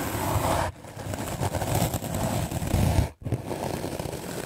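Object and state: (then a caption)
Melamine foam sponge being brushed. A white rectangular magic eraser block of solid melamine foam is held in the hand and scrubbed aggressively with a medium black-bristle paint brush. The result is a dense, continuous scratchy brushing with a heavy low rumble, briefly dropping off near 0.7 seconds and cutting out almost completely near 3.2 seconds before resuming.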